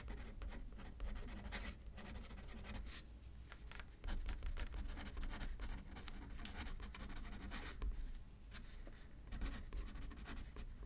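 A pen scratches across a thin paper card resting on a paper pad, writing left-handed. Steady, quiet, dry scratching strokes continue over a low, muffled background rumble.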